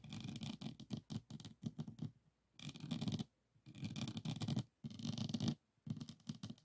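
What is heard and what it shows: Fingertips of both hands scratch and tap across the faceted resin drill beads of a small framed diamond painting of a Provence lavender scene laid on a flat board. The result is five bursts of dense, rapid scratching and pattering with brief silent pauses between them. Each burst has a soft low body with a bright, crackly top.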